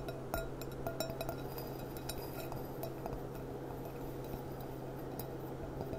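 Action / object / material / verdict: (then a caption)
tap / glass stemmed goblet / glass / none. Long dark-painted nails tap the bowl and foot of a small, clear, gilt-rimmed glass goblet with a gold band, standing hollow, empty and upside down on a tablecloth. A string of light, bright glassy clinks rings out with a tone near 656 Hz over a steady low hum.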